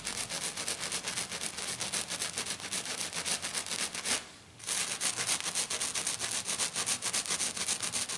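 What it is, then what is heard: Glitter-coated sheet being scratched. Long black nails on both hands scratch fast and hard across a flat, silver glitter-coated sheet lying on a table. The rapid, bright, hissy strokes run in a steady rhythm, stop briefly for about half a second just after four seconds, then resume at the same pace.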